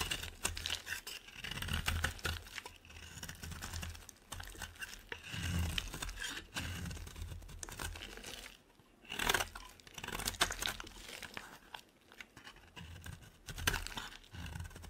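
A utility knife blade shaves and scrapes curls off a solid, dry, rectangular white soap bar held in a hand with long red nails, with a pile of shavings beside it. Dense, crisp scraping and crunching rasps run throughout, with a low rumbling undertone. There is a brief quiet pause just before the ninth second before the shaving resumes.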